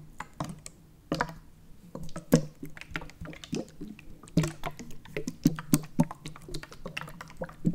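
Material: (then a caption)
Plastic. A Prime plastic bottle full of purple liquid is held sideways while fingers tap and scratch along its ridged plastic body. It makes a rapid, irregular run of short, dull knocks and scraping clicks with a low, hollow tone from the liquid-filled body. Each tap dies away almost at once.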